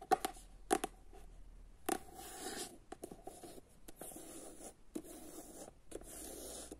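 Long nails tap and scratch the solid cardboard cover of the paperback novel "Jedanaest minuta," first on the back cover and then on the front. Sharp, dry taps with a faint tone around 750 Hz alternate with soft, bright scratching and rubbing. The clip is quiet and uneven, with short pauses between strokes.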